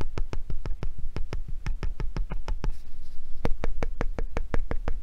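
A hand gripper with pink foam handles and a metal spring is held close while fingernails tap the metal spring in a quick, uneven run of sharp, dry clicks over a low, steady rumble. The nails then scratch the ridged pink foam handle, giving a brief soft, bright scraping before the crisp tapping resumes.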